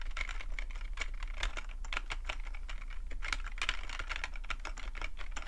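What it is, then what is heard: Plastic computer keyboard being typed on. Fingertips type steadily on a full-size black plastic computer keyboard with a hollow plastic body, producing a rapid, continuous run of short, dry tapping clicks. The key taps are bright and crisp, centered around 2 kHz, with each one dying away almost instantly over a steady low hum.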